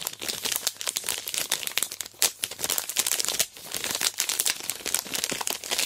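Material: Plastic film.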